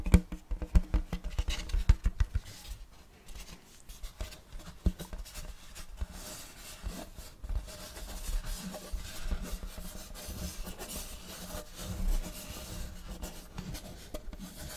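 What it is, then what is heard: Wooden serving tray. Fingernails scratch and rub across the front and back of a large, flat, round wooden serving tray with a checkerboard block pattern, solid and empty. Quick, irregular dry scratches and light knocks in the first seconds give way to a steadier, softer rasping rub. The sound is close and low-heavy, with brief bright edges on the strokes.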